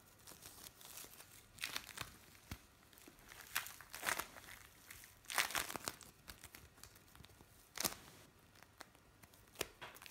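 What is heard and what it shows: Pieces of blue bead play foam, gathered into one soft lump, are kneaded and squeezed by both hands. This produces quiet, bright crinkling and crackling with sharper bursts scattered throughout. Each burst dies away almost at once over a faint background.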